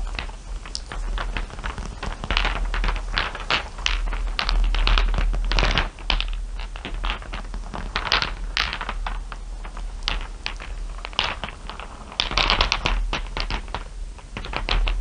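Fingertips and long nails rake and tap through a heap of many small, solid glass marbles, clear with blue and dark shiny ones, resting on dark fabric. Quick bright clicks and clattering ticks come in an irregular, dense stream, with scratchy sliding between them. The clicks die almost instantly over a steady low hum.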